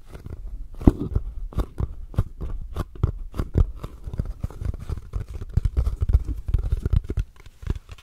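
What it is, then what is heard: Cardboard gift box tapped and scratched. A small, hollow purple cardboard gift box with a ribbon is held in both hands and tapped and scratched with long nails. A rapid, uneven stream of dull, low taps mixes with crisp scratching clicks that stop almost instantly, with no ringing.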